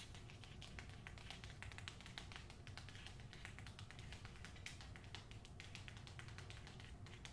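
A book is tapped with fingernails in a rapid, continuous flurry of light, crisp clicks. The bright taps sit over a steady low hum and stay quiet and even in level throughout.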